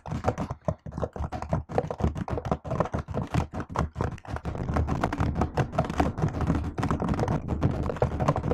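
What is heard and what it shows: A laptop keyboard with plastic keys is typed on with long acrylic nails and fingertips. It produces a rapid stream of short, dull clicks and taps with a soft low thud. The keystrokes are spaced out at first, then run together into dense, continuous typing.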